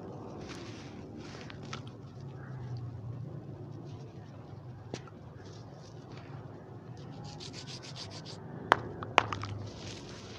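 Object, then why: Soil clumps crushed and rubbed between fingers. Fingertips pick up, crush and rub small crumbly clumps of loose, dry reddish dirt or cement-like soil spread on the ground, so they crumble apart. A soft, steady gritty rubbing and crackling runs throughout with bright, hissy bursts of crumbling grains, and two sharp, loud snaps of clumps breaking stand out near the end.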